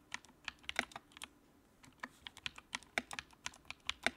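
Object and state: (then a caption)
Plastic mechanical keyboard. Fingertips type on the keycaps of a compact white plastic mechanical keyboard with backlight. About 21 short, bright, clacky keystrokes come in an uneven rhythm, each dying away almost instantly, with a brief pause near the middle.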